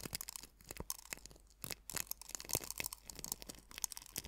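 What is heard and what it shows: Fingertips with painted nails press, rub and scratch coarse white sea salt crystals in a small hollow bamboo or wooden bowl filled about a third full. The result is a dense run of bright, dry crunching and crackling with short sharp grains of sound, most of the energy high and little low end.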